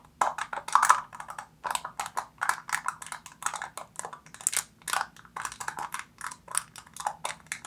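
Long nails tap and scratch the silver foil seal stretched over the mouth of an opened black plastic jar. A quick, uneven series of dry, crinkly taps and scrapes comes through, with papery crackle centred around 1 kHz and a bright hiss on top. Each contact dies away almost instantly, and there is no low-end thump.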